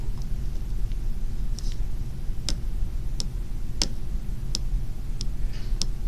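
A slim, small, hollow fountain pen with a glossy black plastic barrel and a polished steel cap is held in the fingers over an orange surface and handled and tapped with the fingertips. Sharp, clicky ticks ring out at irregular intervals over a steady low rumble.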